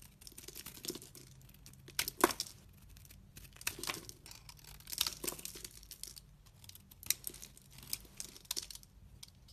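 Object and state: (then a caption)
Bar soap being shaved. A solid chunk of white bar soap, held in the hand, is shaved into flakes with a utility blade. Quiet, dry scraping strokes come in a run of crisp, crinkly bursts with bright high-end grit. Each one stops almost at once, with a few sharper, louder scrapes standing out.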